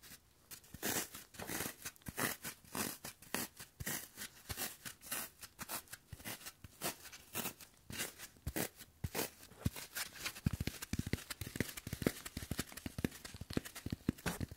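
Latex-gloved fingers poke, press and tear at the surface of a solid block of green floral foam, porous, crumbly and likely damp, held close to the microphone. Dozens of short, dry crunching and tearing crackles follow in quick succession, each dying away almost instantly. After about ten seconds the crunches grow louder and fuller in the low end.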